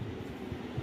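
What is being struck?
Nothing is struck.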